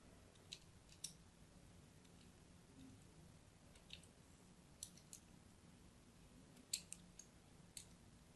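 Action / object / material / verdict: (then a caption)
scrape / bar of soap / soap / none. A thin blade scratches scoring lines into a solid, hand-sized, pink-and-white striped bar of soap held in the hand. Sparse, short, crisp scratching clicks sound bright and die away almost instantly. They sit over a quiet, steady low background hum.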